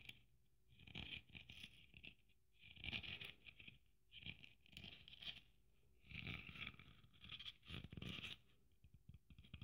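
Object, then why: Sequin-covered Christmas ornament with braid trim. Long nails scratch across the sequined surface of a red sequin Christmas ornament with gold braid. Bursts of bright, crackling scratching sit over a soft low rumble, broken by short quiet pauses between strokes.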